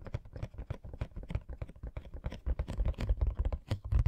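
Fingernails tap rapidly on the bottom, front and sides of a hollow cardboard Coca-Cola Funko Pop box. The taps come as a quick, uneven run of dull, low, hollow thuds with light clicky edges, each dying out almost at once. They grow louder and heavier in the second half.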